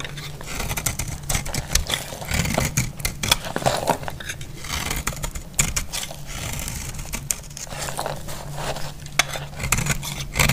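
A solid, dry purple bar of soap held in the hand is repeatedly shaved with a metal utility-knife blade, curling off flakes. Quick, crisp scraping strokes follow one another in a dense, uneven run, bright and gritty over a steady low hum. Each stroke ends sharply with almost no ring.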